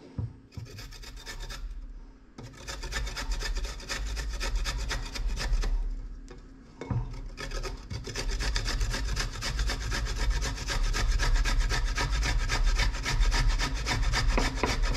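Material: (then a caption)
Coconut, steel. A solid piece of fresh white coconut meat, held in the fingertips, is rubbed back and forth over a round stainless-steel hole grater with a yellow plastic rim, which rests on a white plate on a bamboo board. The result is a steady, rhythmic scraping rasp with a bright, gritty edge over a low rumble. It pauses briefly around the second and sixth seconds, then grows louder and denser toward the end.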